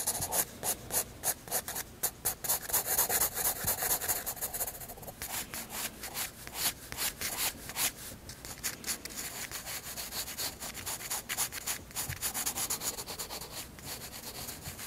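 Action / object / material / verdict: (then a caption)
scrape / graphite pencil on paper sketchbook page / paper / none. A graphite pencil rubs broad shading strokes across a white paper sketchbook page. Rapid, uneven back-and-forth strokes, about four per second, make a bright, dry scratching hiss with little low end.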